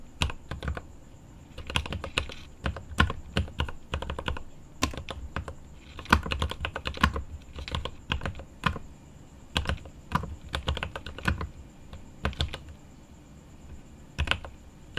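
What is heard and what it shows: A mechanical keyboard with plastic keycaps and an aluminum case is typed on by right-hand fingertips. The result is a steady stream of short, clacky keystrokes in uneven bursts with brief pauses, each with a deep thock and a bright click that fades almost at once. A faint constant high-pitched whine runs underneath throughout.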